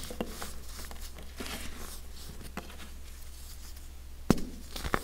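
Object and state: Compressed baking soda blocks crushed by hand.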